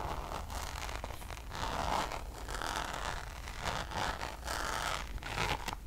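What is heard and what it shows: Long nails scratch the Damier checkered coated canvas of a Louis Vuitton zip pouch near its zipper edge, producing a continuous dry, raspy scraping that swells and fades in short strokes. The scratching is bright and papery over a steady low hum.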